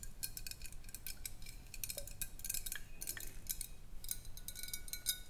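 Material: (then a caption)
Glass. Long acrylic nails tap and scratch a large clear glass bottle with a wire swing-top cap, partly filled with water and held on its side. Quick, bright clicks and ticks come in an uneven, steady stream, each dying away almost at once. Faint scraping and a soft low background hum sit underneath.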